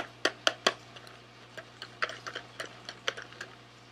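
A small, sealed SweetTarts cardboard candy box, hollow with candy inside, is held in both hands and rapidly tapped with fingernails. About 13 sharp, dry, clicky taps are heard, some louder and some softer, each dying away almost at once. A faint steady low hum runs underneath.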